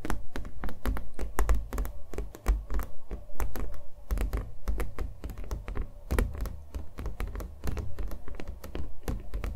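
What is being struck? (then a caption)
Acrylic-painted canvas on a wooden stretcher frame. A small acrylic-painted canvas on a hollow-backed wooden stretcher frame is held in both hands and tapped with fingernails across its surface and edges. It gives a quick, irregular run of dull, hollow thunks with a low, boomy body and very short decay, resembling fast keyboard typing.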